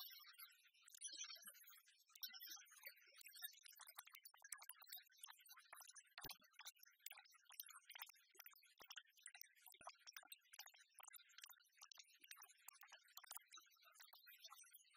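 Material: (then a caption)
Metal. A palm-sized, solid, flat copper-colored metal replica of a one-cent coin is held in the hand and tapped and scratched with long fingernails. The result is a quiet, dense stream of fast, bright clicks and scratchy rasps, almost entirely high in pitch with no low end, each tap dying away almost instantly.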